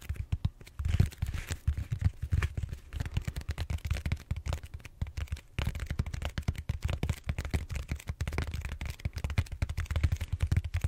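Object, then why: Foam roller. Fingertips tap and scratch the bumpy surface of a large, solid purple styrofoam foam roller held horizontally. The result is a dense run of quick, dull, low thumps that die away almost instantly, with a faint scratchy texture above them.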